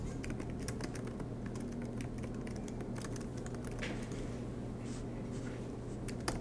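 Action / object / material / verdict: tap / laptop keyboard with plastic keys on aluminium body / plastic / none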